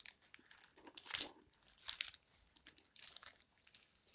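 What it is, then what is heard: Old paper book cover. Long red-painted nails scratch and tap the worn paper dust jacket of a closed old hardcover book, about 20 cm tall and solid. Quiet, bright crinkly scratches and light ticks come in uneven bursts, with almost nothing in the low end.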